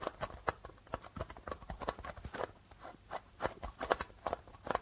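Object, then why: Darbuka drum with plastic head. Rapid fingertip and nail tapping on the white plastic membrane of a hollow darbuka drum. A quick, irregular run of short, dry taps with a hollow midrange knock around 500 Hz, some brighter clicky edges and almost no ring.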